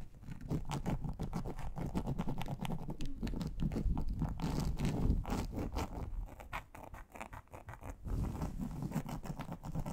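Long acrylic nails on both hands rapidly scratch and tap across a large, flat, grey textured plastic board made of a solid thin sheet. The result is a dense, uneven patter of short scratchy taps with a low, heavy body and little brightness. The sound softens briefly near the end before picking back up.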